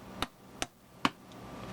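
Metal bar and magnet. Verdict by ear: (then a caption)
Fake. A magnet snaps onto a counterfeit silver bar that looks real to the bare eye, with three sharp, short metallic clicks heard. The bar sticks to the magnet, which real silver would not do, confirming the bar is fake.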